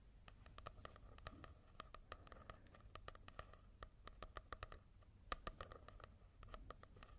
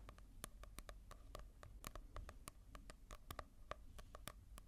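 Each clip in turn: First: matte-covered paperback book tapped with fingertips. Second: glossy-covered paperback manga.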